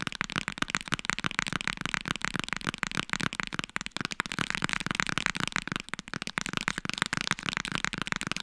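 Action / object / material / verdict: tap / hardcover book / cardboard / none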